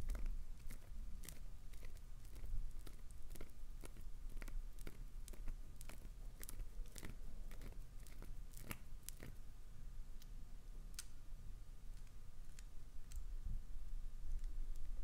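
Long nails scratch and gouge a chunk of solid translucent green glycerin soap held in the hand, sending crumbs falling. The result is a steady run of short, crisp, bright scraping crackles over a soft low rumble, staying fairly quiet throughout.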